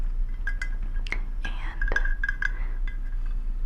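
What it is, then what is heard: Small glass shoe figurine. A small decorative glass shoe from a collection of little glass shoes is tapped repeatedly, giving clear, bright glass clinks with a ringing tone near 1.6 kHz. Each clink fades quickly over a low background hum.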